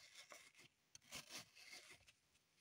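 Long pointed nails scratch along the side of a dug-up green floral foam brick held in the hands, with crumbs on the table. The result is a quiet series of dry, bright, crackly rasping strokes with almost no low end and very little ring.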